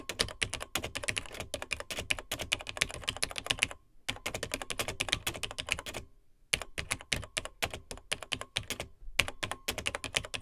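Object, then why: Plastic laptop keyboard. Fingertips of both hands type on the dark plastic keys of a beige plastic vintage Tandy TRS-80 Model 100 portable laptop. Rapid, bright, clicky keystrokes with very short decay come in bursts, broken by brief pauses near 4, 6 and 9 seconds.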